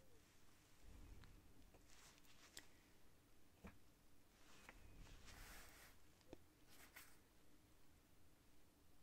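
The tip of a white feather quill scratches across a thin cream paper sheet resting on a desk in short writing strokes. Soft, bright, papery scratches come in uneven bursts, with a few sharper ticks, over a steady low background rumble at a quiet level.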